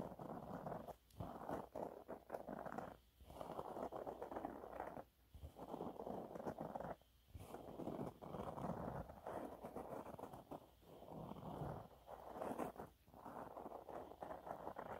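A yellow waffle-textured cleaning cloth is scratched and rubbed across its surface with nails. The result is a soft, dense, gritty scratching in the low-mid range, coming in bursts with brief quiet gaps between strokes.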